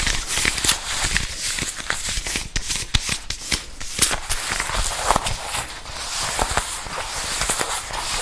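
Fingertips and long nails tap and scratch a green leather jacket being worn, moving across the shoulder, sleeve and chest. Sharp, dry taps land over a steady, bright crackling scratch, each tap dying away almost at once.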